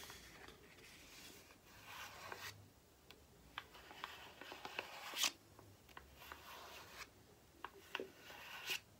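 Long painted nails scratch and rub a small, flat, white printed paper or card sachet held in one hand. The sound is a quiet, bright, dry scraping with several sharp ticks, the loudest around the five-second mark. Each tick dies away almost at once.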